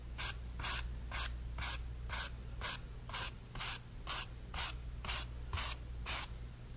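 A flat brush is dragged in repeated vertical strokes across a pink-painted area of a small stretched cotton canvas panel. The clip holds 12 evenly spaced, breathy brushing swishes, each bright, airy, and short, over a steady low hum.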